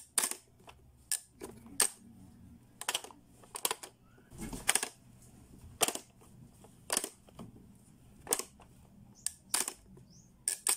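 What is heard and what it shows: A blue, hollow hard-plastic Playskool pop-up learning toy is worked by fingertips that turn its dial and press its button, making the lids pop up before they are pushed closed. Sharp, bright plastic clicks and snaps come at an irregular pace, some in quick clusters, with a faint low hum in the quiet gaps between them.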